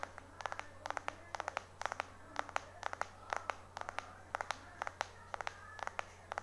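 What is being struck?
Smartphone with glass back.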